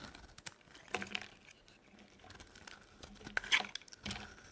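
A metal blade cuts slabs and shavings off a solid, dry orange soap bar held in the palm. It makes quiet, bright, crisp scraping and crackling with almost no low end, plus a few sharper snaps as pieces break away. Each sound dies out almost instantly.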